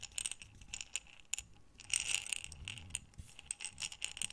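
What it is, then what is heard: Glass jar of buttons. A glass jar with a gold metal lid, full of small buttons, is rotated and shaken in the hands with long nails on the glass. The buttons clink and rattle in quick, bright, short ticks, with a denser cluster of jingling around the middle.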